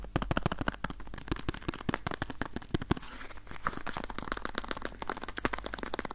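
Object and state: Cardboard box.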